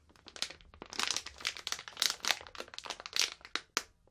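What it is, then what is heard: Plastic snack bag crinkled. A medium printed plastic snack bag full of marshmallows is gripped at the top and crinkled and rubbed with fingertips and long painted nails as it is handled. Dense, bright crinkling bursts rise and fall throughout, with sharp crackling peaks and almost no low end.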